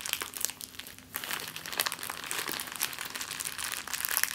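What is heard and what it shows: An empty clear plastic bag is balled up and crinkled in the hands, producing a dense, bright crackle of sharp little snaps and rustles. The crinkling runs almost continuously, with a brief quieter dip near the one-second mark before picking up again.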